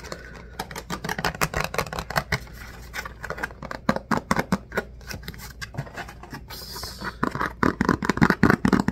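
An empty, hollow, rectangular clear plastic lidded food container is held in the hands, tilted while handled, and tapped and scratched with fingertips and nails. Dozens of quick, irregular hollow plastic clicks and taps ring only briefly, with softer scratchy rustling between them and a brighter scraping stretch near the end.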